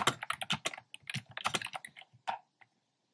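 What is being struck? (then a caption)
Plastic keyboard with round plastic keycaps. Fingertips with short nails tap the hollow, round retro-style plastic keycaps, in cream, pink and red, of a black plastic keyboard. About sixteen quick, bright, clacky keystrokes with almost no ring come in an uneven rhythm, thinning out toward a final lone tap and then silence.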